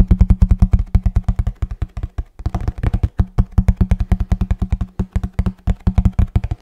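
Fingertips tap rapidly on a hollow kraft cardboard box held close to the microphone. The result is a fast, uneven run of short, deep, hollow thuds with almost no high-end content, each dying away almost instantly, with a brief pause just past the two-second mark before the tapping resumes.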